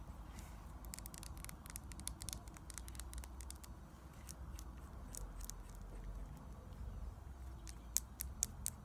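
A small hollow pink plastic mascara tube, held in both hands, has its wand pulled out at the start, then is tapped and scratched with long acrylic nails. Quick, bright, dry clicks and scratchy ticks sound over a steady low rumble, with the sharpest taps coming near the end.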